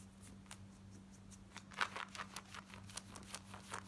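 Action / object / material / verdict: scrape / cotton denim jeans / denim / none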